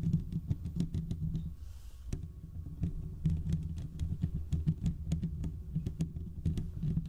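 Fingertips and short nails of both hands scratch the hollow domed steel mesh grille of a large desktop condenser microphone. Rapid, continuous scratching and tapping produces dense, boomy low rumble broken by sharp, bright clicks. A brief airy rustle sits around the two-second mark.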